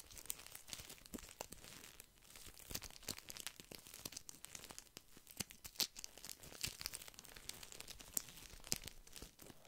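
A small soft pack of paper tissues wrapped in thin plastic film is held in one hand close to the mic while fingertips squeeze and scratch it. Dense, bright crinkling and crackling runs throughout, with many sharp snaps and quick scratchy bursts that end instantly with no ring.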